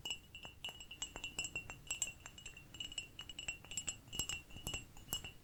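A small ceramic cup is tapped repeatedly in a quick, uneven series of light taps. Each tap rings briefly with a bright, chime-like tone around 3 kHz and higher overtones, over a faint low rumble.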